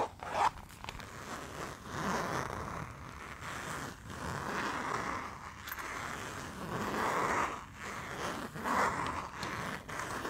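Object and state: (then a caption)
Fabric zipper pouch being zipped. Fingers pull the zipper along the top of a small, flat printed fabric pouch with a Barcelona picture, held in both hands, open and closed. Repeated raspy zipping strokes carry a toothy midrange buzz that swells and fades with each pull, with brief soft clicks between strokes.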